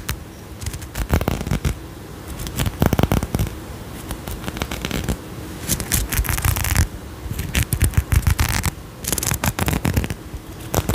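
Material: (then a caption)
Glass. Long nails scratch across a faceted glass perfume bottle with a gold cap and a pink tassel, held close to the mic. Bursts of bright, crackly scraping come in uneven rushes over a steady low rumble, stopping and starting throughout.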